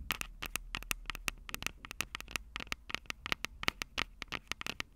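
Long purple acrylic nails tap and scratch the metal-grilled capsule heads of a Tascam DR-05 handheld recorder, a plastic-bodied unit with two microphone capsules held upright on a table. Rapid, dry, bright clicks and crackly scratches come in close bursts, with a ringing tone around 2.2 kHz. A steady low hum sits underneath.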